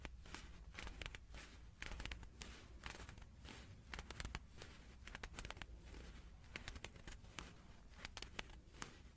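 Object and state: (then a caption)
Leather gloves crinkling. A pair of shiny silver-grey leather (possibly faux leather) gloves is worn on both hands and held in the air on either side of a microphone without touching it. The fingers flex and rub so the glove material crinkles and scratches against itself, making quiet, dense, dry crackles with sharp bright snaps that die away at once. A steady low hum sits underneath throughout.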